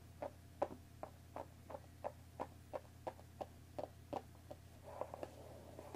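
Long nails tap about sixteen times, at an uneven pace, on the top of a hollow cardboard tea box wrapped in plastic film on a wooden table. Each tap is a short, hollow knock with a brief papery crackle, over a steady low hum. Near the end, a soft scratching rustle joins the last few taps.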